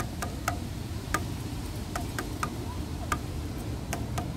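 Fingertips and nail tips tap lightly on one slat of a grey, weathered, solid wooden bench. Short, dry, clicky taps with a bright edge fade almost instantly. They sit above a steady, low rumbling background.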